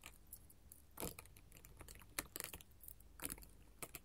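Long gold metal filigree finger claws rapidly tap a flat sheet of colored glass mosaic tiles. The result is a quiet, uneven patter of sharp, bright clicks with very little ring, over a faint low background hum.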